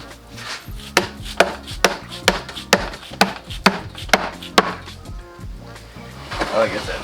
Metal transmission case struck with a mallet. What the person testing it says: Hollow sound usually means you got all the bolts